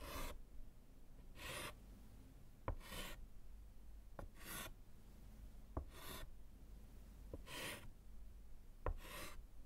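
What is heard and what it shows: A gloved hand writes and hatches lines with orange chalk on a small solid slate board set in a wooden frame. Bright, rasping scratch strokes repeat at a loose, uneven rhythm, with short sharp taps as the chalk meets the slate. A low hum sits underneath throughout.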